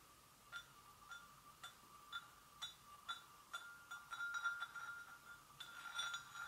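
Gentle taps on a porcelain gravy boat make quiet, clear ceramic clinks with a ringing tone around 1.4 kHz and faint high overtones. The taps come at a steady pace, then bunch into a quicker flurry midway before spreading out again. Each clink fades quickly.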